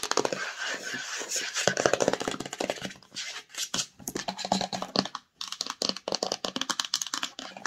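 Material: Cardboard.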